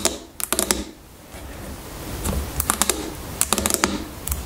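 A medium-size, hollow plastic shampoo bottle that appears filled with liquid lies on its side on a table and is tapped on top with the long fingernails of both hands. Quick, bright clicking taps come in clusters over a low background hum, each tap dying away almost at once.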